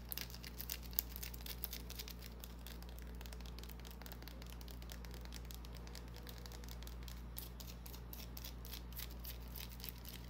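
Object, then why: Small bar of soap. A small, solid white bar of soap held in the palm is scratched with long painted nails, leaving shavings on the hand. Quiet, rapid, irregular crisp scratches and ticks with a bright edge run throughout, over a steady low hum.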